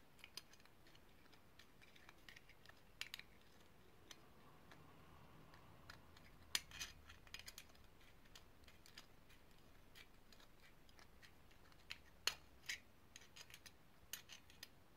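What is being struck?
Small ridged brass grinder.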